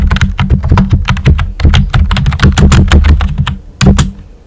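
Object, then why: Plastic computer keyboard with round plastic keycaps. A full-size pink plastic computer keyboard with a hollow body and round white typewriter-style plastic keycaps is typed on with short-nailed fingertips. Rapid keystrokes give deep, hollow thunks with brief clicky tops, running in quick bursts with a few short pauses.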